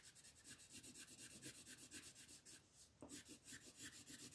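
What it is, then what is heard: Pencil shading on a paper page. A red wooden colored pencil rubs and scratches back and forth over a thin white coloring book page lying flat on a table, held down by the fingertips of one hand, to shade the ground. Quick, even, bright scratchy strokes run steadily, pause briefly near the three-second mark, then pick up again at the same pace.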